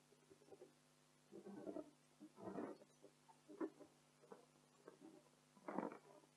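Long acrylic nails of both hands scratch and tap an inflated blue latex party balloon with a "Joyeux Anniversaire" print, its hollow, air-filled body giving soft, muffled rubbery rubs and dull taps. The sounds come in short, low-mid bursts over a faint steady hum, with no bright edge and almost no ring.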